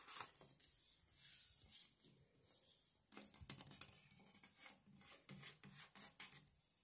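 Fingertips and long nails, one finger wearing a metal claw ring, rub and smooth paper stickers down onto a page of a flat, solid paper/cardboard sticker puzzle book lying on a marble table. Soft, bright, hissy rubbing and scraping sweeps give way to a quick run of sharp, dry ticks and taps as the stickers are pressed flat.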